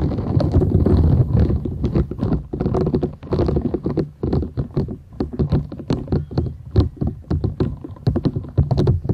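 Long nails scratch and rub a thin, solid, flat purple silicone scrubber sponge with short bristles, held folded and bent in both hands. The result is a dense run of quick scratchy, rubbing strokes over a low, muffled rumble, with brief bright ticks scattered throughout.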